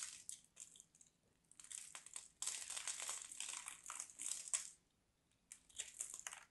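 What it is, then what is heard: Dry soap bar being scraped. A solid, hand-sized bar of dry soap with mint-green and white stripes, held in hands with long black nails, is carved and scraped with a small craft knife blade. Bursts of dry, crisp crunching and scraping, almost entirely high and bright, come with short pauses in between. Crumbly flakes fall off the bar.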